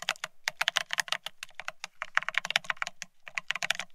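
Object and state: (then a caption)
Plastic split ergonomic keyboard. Fingertips of both hands type fast on a full-size beige split ergonomic keyboard with plastic-looking keycaps. The result is a rapid, uneven stream of short, bright plastic clicks that die away instantly, with only a faint low thump under each keystroke.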